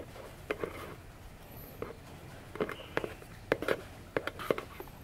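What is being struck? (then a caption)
Small cardboard box. Long nails tap and scratch the front face and edges of a small, hollow orange cardboard box with a silver foil 'Vione' print, standing upright on a table. About fourteen short, dry, hollow taps with a resonance near 465 Hz stand out over a soft, steady scratching hiss, and each tap dies away almost instantly.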